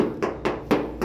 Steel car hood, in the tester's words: ini tidak ada dempul semuanya